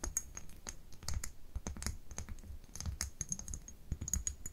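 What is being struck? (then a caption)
Small glass dropper bottle with a paper label. Long nails tap and scratch the label and glass of a small labeled amber glass dropper bottle held in both hands. The result is a quick, steady run of crisp clicks with a bright, high glassy tick, over soft low thumps and light scratching.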